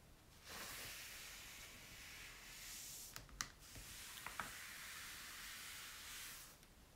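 A folded paper napkin wipes and rubs across an open glossy paper magazine lying on a table, while fingertips hold the pages down on the same spread. It makes a steady, bright, hissy rubbing for about six seconds, with a few sharp papery ticks in the middle, before fading to quiet.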